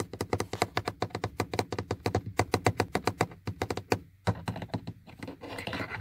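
Fingertips and short painted nails tap and click the buttons of a black plastic power-window switch panel on a car door armrest, which is hard and hollow. A quick, steady run of sharp, dry clicks with a low hollow thunk, then a brief pause, followed by more clicks that blend into a soft, bright scratchy rustle.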